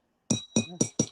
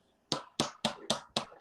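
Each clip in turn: First: real glass cup. Second: plastic cup, not glass.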